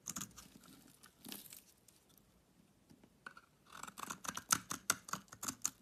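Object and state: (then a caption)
Bar soap being shaved with a blade. A utility knife blade shaves a solid pink bar of soap held in the hand, making crisp, bright scraping crunches. A few soft strokes and quiet pauses give way to quicker, louder shaving strokes in the second half.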